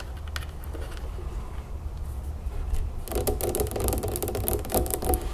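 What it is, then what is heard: Plastic juice bottle. Long nails tap and scratch the ribbed plastic body and label of a large, full plastic lemonade jug standing on a table. Sparse light clicks over a low steady hum give way after about three seconds to faster, denser tapping and scratching with bright crackling clicks.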